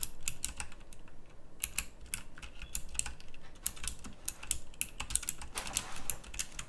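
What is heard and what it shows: Both hands type on a pink backlit, typewriter-style plastic mechanical keyboard with round plastic keycaps. The result is a fast, uneven run of sharp, bright clicks and clacks with almost no ring, over a low background rumble.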